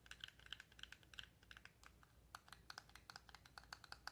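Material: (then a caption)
Cardboard. A palm-sized, hollow, empty-looking yellow cardboard toy box with a SpongeBob print is held in the fingers and tapped with long acrylic nails. About 27 quick, dry, bright clicks come in an uneven, typing-like rhythm, with a high tick near 3.2 kHz. Each tap dies away almost at once over a quiet, low background hum.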